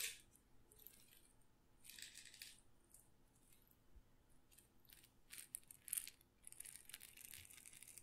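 A small glass pepper grinder jar with a plastic grinder top, full of whole peppercorns, is held by the fingertips and shaken and tilted so the peppercorns rattle inside the glass. Quiet, bright, high-pitched rattling comes in short bursts and swells, with a few sharper clicks near the end.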